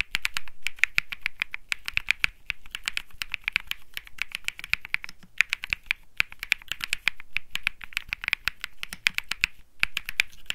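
Fingertips type continuously on a cream mechanical keyboard with plastic keycaps, producing rapid, sharp clicky key presses. The clicks are bright with a strong peak around 2.4 kHz, and brief pauses break up the dense typing.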